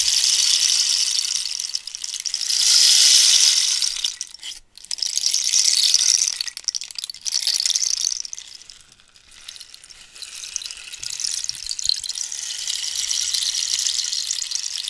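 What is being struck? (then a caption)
Cactus wood rainstick with loose filling. A hollow cactus-wood rainstick is moved in front of the face and tilted while fingernails scratch its surface. Its filling trickles inside in a bright, hissy patter that swells and fades in waves. The sound has no low end.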